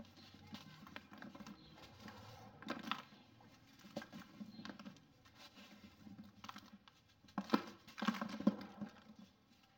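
Two hands hold a hand-sized, solid rectangular block of dried packed sand (sandy clay soil) with a textured surface over a dark bowl, and the fingertips rub and press it so it crumbles and sand falls off. Quiet, dry crumbling and soft gritty patter run throughout, with brief crackling bursts. The crumbling grows louder toward the end.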